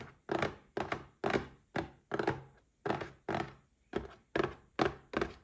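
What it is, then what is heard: Cardboard gift box. A small red cardboard gift box standing upright is tapped with fingertips and short nails in a steady, unhurried rhythm. Each tap is a short, hollow thunk centred around 400 Hz that dies away almost at once.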